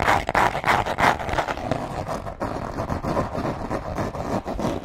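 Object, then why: Small cardboard box. Long nails tap and scratch a small, hollow, dark green cardboard box in quick, uneven strokes. The result is a dry, papery rasp centered in the midrange, with louder scratchy bursts in the first second, then a steady run of rapid taps and scrapes.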